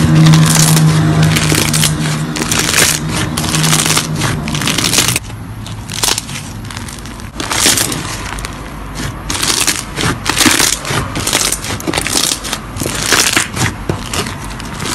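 A large mass of white slime packed with small foam beads, spread on a flat surface, is pressed, squeezed and kneaded by both hands. Dense, irregular popping crunches crackle throughout, with a steady low hum under the first five seconds and bright bursts of crackle that swell and fade.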